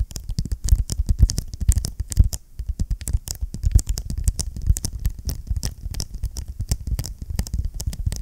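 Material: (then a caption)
Vinyl. Fingertips and nails rapidly tap and scratch on the cover of a closed blue vinyl-covered ring binder held close to the mic. The result is a dense, steady patter of soft, low thumps with sharp, crisp ticks on top, each dying away almost instantly.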